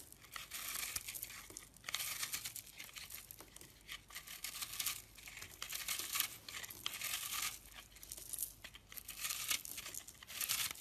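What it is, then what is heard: Dry crumbly soap being scraped. A blade scrapes and digs into the crumbly surface of a solid, porous, dried-out yellow-orange soap lump held in a hand with lilac nails. Bright, dry crackling and crunching rasps come in repeated bursts of scraping, with little low end and short pauses between strokes.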